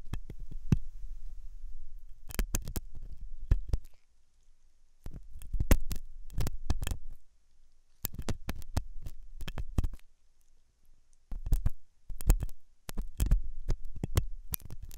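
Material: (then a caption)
Silicone. A thin hooked metal dental tool scratches inside the ear canal of a white silicone dummy ear on a binaural microphone. The dummy ear is soft and solid-looking. Bursts of close, deep rumbling scrapes and sharp clicky contacts come in clusters, with short pauses between them.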